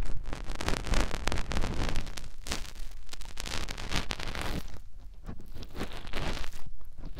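Fingertips with short nails rub and press inside the ear canal and concha of a soft white silicone ear mounted on a round white binaural microphone housing, in a finger ear-cleaning motion. The result is a dense, close stream of low, rumbling thumps with crackling, rustling scrapes, easing slightly quieter past the middle before picking up again.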